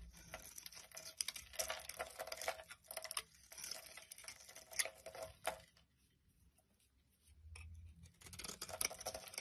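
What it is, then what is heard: Bar of soap being shaved. A utility knife blade scrapes along a solid, pale yellow, rectangular, palm-sized bar of soap held in the hand, shaving off curls and flakes. The scraping is quiet, bright and crackly, coming in dense bursts of short rasping strokes. A near-silent pause follows around the six-second mark before the shaving resumes.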